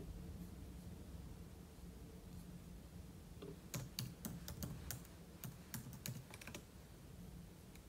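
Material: Plastic.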